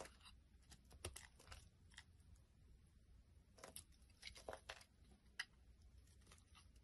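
A solid green striped soap bar is held in the hands and scraped with a small black blade, sending green curls falling. Quiet, crisp scraping and crunching strokes come in short bursts, with bright, dry rasps rising over a soft low background rumble.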